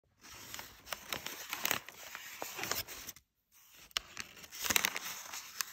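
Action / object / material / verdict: scrape / sheet of brown kraft packing paper / paper / none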